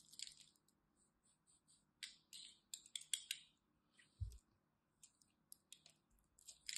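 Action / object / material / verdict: scrape / glycerin soap bar cut with a knife blade / glycerin soap / none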